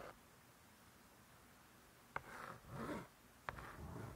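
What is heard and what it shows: Long nails tap and scratch the laminated cardboard cover of a closed spiral-bound hardcover cookbook. After a near-silent stretch, two sharp, bright taps ring out, with soft rasping scratches swelling between and after them.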